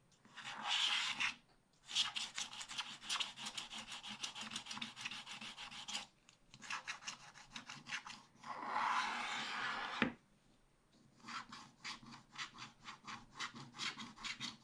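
A wooden stylus scratches wide areas off the black coating of a scratch-art paper page, revealing the pink background underneath. Bursts of rapid, bright, raspy back-and-forth strokes alternate with a few longer continuous rubs and short pauses, with almost no low end.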